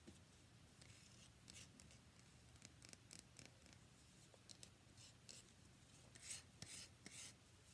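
Fingernails tap and scratch a palm-sized, solid cream-white rectangular bar of soap with embossed lettering. The result is quiet, bright, dry scratching and soft ticking bursts over a low, steady background hum, with the loudest scrapes near the end.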